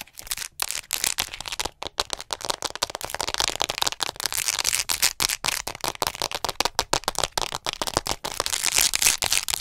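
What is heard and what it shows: Long nails rapidly tap and scratch a hollow white plastic acupuncture model doll held upright close to the mic. The result is a dense, fast stream of bright, dry clicks and scraping crackles with very little low end, each tap dying away almost instantly.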